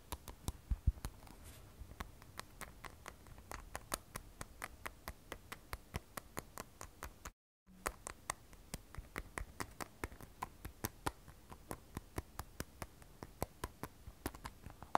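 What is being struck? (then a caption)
Smartphone with glass back and steel frame. An iPhone 12 Pro, a glass and stainless steel smartphone, is held sideways while long nails tap its glass back and the top steel frame edge. Dozens of quick, crisp, dry clicks follow one another in a steady patter, each dying away almost instantly. The tapping breaks for a brief moment of silence midway through.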